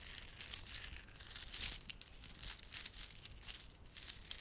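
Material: Plastic.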